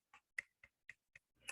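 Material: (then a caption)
Feather. A feather quill, cured and hardened from being off the bird at least six months, is tapped five times, giving short, dry, bright clicks with a tone near 2 kHz and almost no ring. A brief, louder, noisy rustle follows at the end. The hard tapping shows the quill has cured; a freshly plucked feather would still be soft and pliable.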